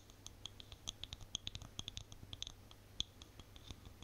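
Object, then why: Small plastic cosmetic jar. Long nails scratch and tap the lid and sides of a small white plastic cosmetic jar with a label. About two dozen quick, dry clicks land over a soft scratchy hiss, each one bright and high with almost no ring, and one sharper tap stands out near the three-second mark.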